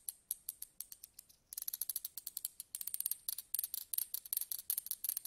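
Slim metal tweezers with ridged grips, held upright and tip-down on a table, are scratched along their ridges with a thin pointed stick. The result is around thirty short, bright, ratchet-like ticks with almost no low end, sparse and soft at first, then faster and louder from about halfway through.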